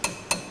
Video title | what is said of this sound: A Car Is Reborn - Part 11.3 | you tap the spokes and they should sound pingy you're looking or listening for dead sounds like that that is a loose spoke